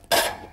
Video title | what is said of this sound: How to Make Cheap Bread | tap its bottom it sounds Hollow it's cooked